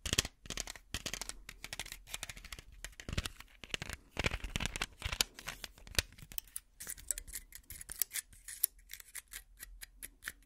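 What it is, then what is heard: Plastic and foil blister pack. Long nails scratch and tap the filled plastic bubbles of a small pill blister pack with a foil backing. The result is a quiet, steady stream of crisp, bright clicks and scratchy crinkles, each one dying away almost instantly, with brief pauses between bursts.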